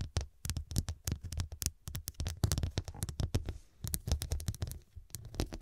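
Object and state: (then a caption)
Glass-studded pillow. Long dark nails rapidly tap and scratch across the square faceted glass studs covering a medium, soft, filled fabric cushion. The result is a dense run of short, sharp clicks with bright high edges over a soft, low muffled thump, each tap dying away almost instantly.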